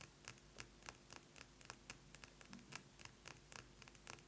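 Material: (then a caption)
Glass. A glass perfume bottle is tapped quickly with fingernails, giving about nineteen short, glassy clicks with a bright, jangling ring high in pitch. Each tap dies away almost at once over a quiet background.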